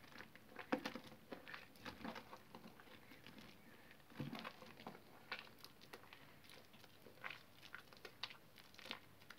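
Bare hands squeeze and knead a large mass of soaked, soft green soap paste in a blue plastic basin, the wet, foamy mush being solid but mushy. The sound is a quiet run of squelchy, crinkling squishes and soft wet pops, with brief bright crackles scattered across a low background.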